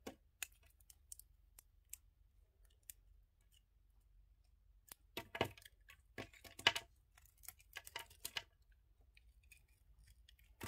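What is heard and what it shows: A yellow utility knife blade shaves the remaining red coating off a palm-sized solid red-and-white bar of soap held in the hand, exposing the white soap. Quiet, crisp, bright scraping clicks come in an irregular series, sparse at first, then bunched more densely in the middle before thinning out again.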